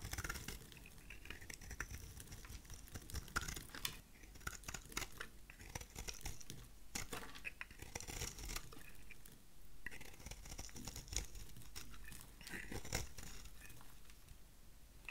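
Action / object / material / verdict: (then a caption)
scrape / bar of soap cut with a blade / soap / none. A utility knife blade shaves the edge of a solid, oval, dry white soap bar into brittle flakes. The result is dense, crisp scraping and cutting with rapid crackly, crunchy bursts and bright high texture, continuing steadily throughout.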